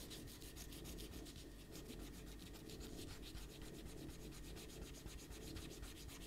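A small rubber eraser is rubbed back and forth across a pencil drawing on a stack of thin white paper resting on a white table, while the other hand presses the sheets down. It makes a steady, quiet scrubbing sound of quick rhythmic strokes with a bright, papery rasp over a low, constant hum.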